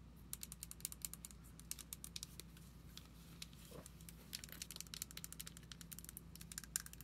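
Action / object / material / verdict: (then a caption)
tap / plastic deodorant stick container / plastic / none. Long nails tap and scratch the label and sides of a hand-sized, hollow, white plastic Lavender + Sage deodorant stick container. The result is a rapid, irregular series of short, bright clicks with almost no ring, interspersed with soft scratching, over a steady low hum.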